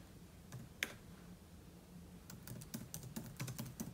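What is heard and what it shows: Fingertips type on the plastic keys of a silver aluminium laptop. Soft, short, bright key clicks start out sparse, then come in a quicker run over a low, steady background hum. Each tap dies away almost instantly.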